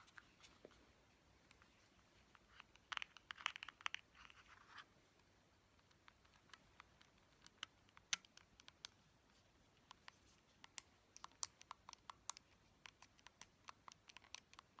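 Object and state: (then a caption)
Plastic game controller tapped with fingernails. Long painted fingernails tap a small neon-yellow hard-plastic Joy-Con controller, a hollow shell with buttons. The result is quiet, sharp, bright clicks that stop almost instantly. They come at an irregular pace, with a denser flurry of rapid taps early on.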